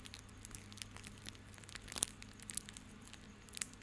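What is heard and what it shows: A small coiled bundle of white plastic rope is held in both hands while the fingertips rub and squeeze it. This makes quiet, bright crinkling and crackling that rises in sharper crunches around the middle and near the end. A faint steady low hum runs underneath.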